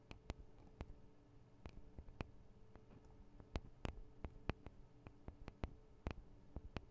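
Long nails tap on the sides of the small metal microphone capsules of a Tascam DR-40 recorder, giving about eighteen quiet, sharp, irregular clicks. Each tap is dry and dies almost instantly, with a soft low thump beneath it, over a faint low steady hum.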